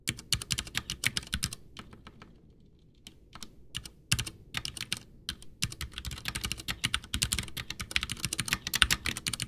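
Both hands type with their fingertips on a full-size, backlit white plastic Ducky One 2 mechanical keyboard with Cherry MX Brown switches and a hollow case, resting on a desk. Fast, bright, clacky keystrokes patter in dense bursts with a brief quiet pause around the two-to-three-second mark. The typing then resumes and grows steadily busier toward the end.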